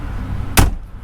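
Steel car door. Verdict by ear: Solid.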